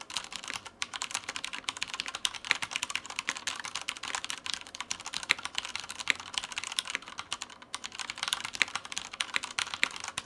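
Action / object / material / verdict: tap / plastic mechanical keyboard / plastic / none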